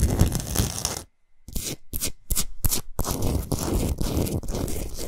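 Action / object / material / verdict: scrape / rock salt block / rock salt / none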